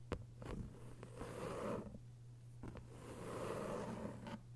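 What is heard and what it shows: Long white nails scratch across the paper dust jacket on the cover of a thick hardcover novel. Two slow, rasping sweeps swell and fade, separated by a few short clicks, over a steady low hum.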